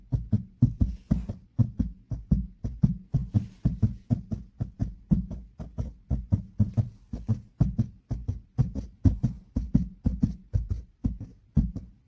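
Fingertips and nails of one hand wearing a ring tap and scratch the grey fabric surface of a car headliner, a large flat roof-lining panel over a hollow space. About 48 short, dull, low thumps sound at roughly two per second in a loose, uneven rhythm, each dying away almost instantly with no ring. Faint scratchy texture sits between the taps.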